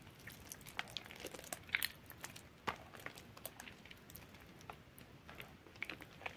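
Soft, waterlogged bar soap in a yellow bowl is squeezed and torn apart by fingers. Wet squishes and crumbly crackles sound quietly in uneven bursts, with brief, bright crunchy snaps that die away almost at once.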